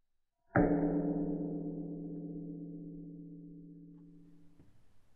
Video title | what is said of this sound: Butte - Montana: The Great Tour - Season 2 | With the strike of a hammer, these boulders resonate a wide array of notes, tones, and volumes, much likened to bells and glockenspiels.